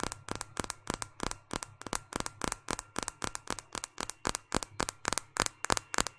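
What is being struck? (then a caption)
Smartphone with glass screen and plastic frame. A small, solid white smartphone with a glass screen and plastic frame is held in one hand and tapped on the screen and back with long painted fingernails. The result is a fast, steady series of sharp, dry clicks with bright, crisp tops that stop almost instantly, over a faint low hum.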